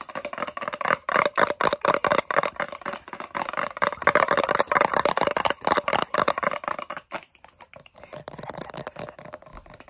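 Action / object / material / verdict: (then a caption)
tap / round metal cream tin / tin-plated steel / none. Long fingernails rapidly tap and scratch the lid and printed base of a large, round, blue metal Nivea Creme tin, a hollow container, possibly with faint whispering. The fast, irregular clicks and scrapes have a hollow metallic tone around 650 Hz with short, bright ticks. They grow softer and sparser in the last few seconds.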